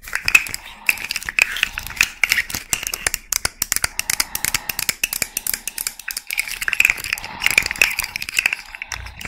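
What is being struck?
Jointed hollow plastic fidget toy.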